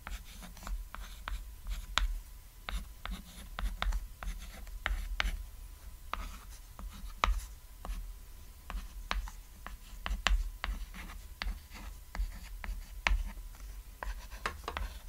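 A white chalk stick writes words on a flat, solid cat-shaped painted chalkboard resting on red fabric. Short, bright scratches and taps come in a steady, irregular stream over a low rumble, each stroke dying away almost at once.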